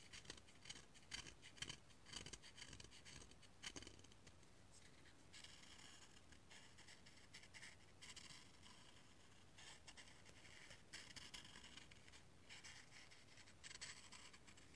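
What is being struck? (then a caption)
Cinnamon stick scraped with a knife blade. A solid, dry cinnamon stick is held upright over a mug and scraped repeatedly with a knife blade, grating it. Quiet, rapid rasping scratches come in bursts with a bright, hissy edge centered around 3 kHz, each stroke dying away almost instantly.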